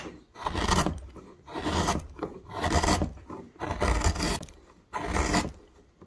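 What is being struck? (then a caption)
Myrtle wood blank. A wide metal gouge, pushed by the thumb, carves a hollow in a solid myrtle wood blank, lifting a curled shaving. About five slow, rasping strokes swell and fade, each a dry scrape with a low rumble underneath and a bright, hissing edge.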